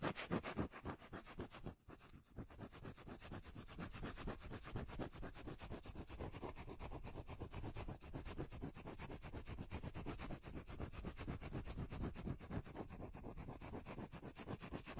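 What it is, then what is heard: Cork lid. Long nails scratch and tap the edge of a solid, round cork lid held close to the microphone. The result is a steady, rapid stream of soft, dull, bass-heavy taps and scratches, about four per second, with a brief dip in the first few seconds and a low, muffled tone throughout.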